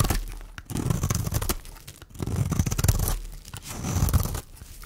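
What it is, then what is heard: Dry bar soap being scraped. A small, solid, pink, dry oval bar of soap held in the hand is scraped with a metal blade, peeling off thin powdery shavings. Three long, scratchy, tearing strokes rise and fade, with dense low grainy crunches and brief brighter rasps.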